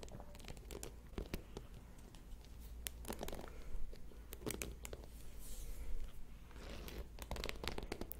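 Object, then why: Plastic paddle hairbrush with metal pin bristles. A purple and white plastic paddle hairbrush with a dense bed of metal pin bristles is held in one hand close to the microphone while fingertips and nails scratch and strum across the pins. The result is a busy run of short, crisp plucking and scratching clicks, some bright and sharp, over a steady low hum.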